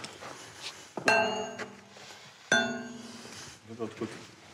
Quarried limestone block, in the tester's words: si ça sonne pas ce moment là c'est qu'ils avaient vraiment un problème